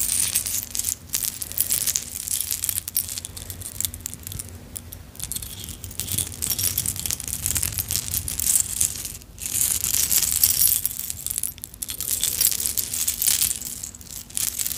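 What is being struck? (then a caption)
Metal chain necklace with small clay charms. A vintage necklace of metal chain with small solid clay charms is lowered and piled into an open palm, then lifted so the charms clink and rattle. The sound is a continuous bright jingling with many small, quick clicks, plus a faint low steady hum underneath.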